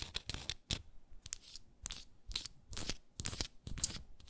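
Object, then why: Frosted glass jar with wooden lid. Long nails scratch and tap a small frosted glass moisturizer jar with a wooden lid, held sideways. The sound is a quiet, irregular run of short, bright, scratchy bursts with dull low taps underneath, each dying away almost at once.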